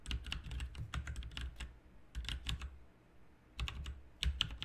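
Fingertips of both hands type on a backlit plastic RGB mechanical keyboard with plastic keycaps. Bursts of sharp, bright clicks and clacks with a low thump under each keystroke come in three quick runs, separated by short quiet gaps.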